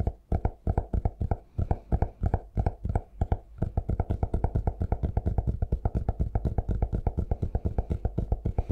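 A cork-covered notebook is held upright while fingertips tap its cover and edge in a long, steady run of quick taps that gets faster and denser after the first few seconds. Each tap is a soft, dull, low thud that dies away almost at once, with little brightness.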